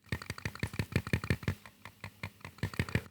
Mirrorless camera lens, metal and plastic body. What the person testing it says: a bit of a rattle once you shake this lens but uh there's no rattle once it's mounted on the camera